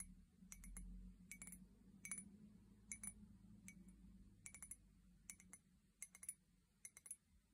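An empty, hollow white ceramic mug with a pink handle and heart prints, held by the handle, is tapped with long painted nails. Quick clusters of bright, clicky taps with almost no ring sound over a soft low rumble.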